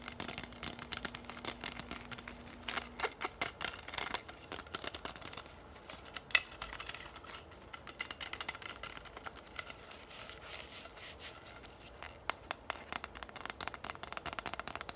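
Long nails tap and scratch a bundle of hollow orange plastic straws, making quiet, fast, dry clicks and scratchy rustles that are bright and die away almost instantly. A faint steady low tone hums under the first three seconds, and a few sharper, louder taps stand out around the middle and near the end.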